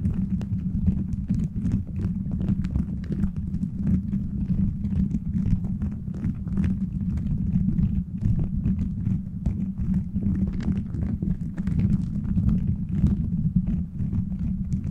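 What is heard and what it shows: Fingertips tap and scratch the beads of a plastic gummy-bear bead cover fitted over a microphone. The sound is a dense, steady stream of soft, muffled taps and rustling that sits mostly in a low, thumpy range, with faint brighter clicks scattered through the clip.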